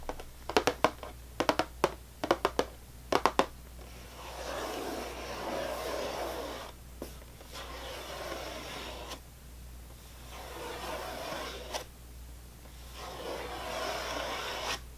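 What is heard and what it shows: A full, closed cardboard cracker box is held in one hand and tapped with sharp, dry clicks in quick clusters for the first few seconds. Then nails scratch slowly along its top in long, rustling swells separated by short pauses, over a faint steady low hum.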